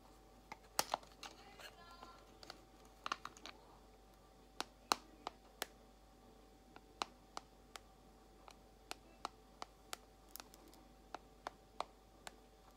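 Long acrylic nails tap on a small clear plastic compartment box holding white false nail tips. The slow tapping makes sharp, dry clicks, 26 in all, spaced out over the clip. Each click is bright and dies away almost at once, over a quiet background with a faint steady tone.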